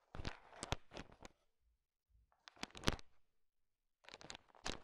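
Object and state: Candy-coated chocolates stirred in a pile.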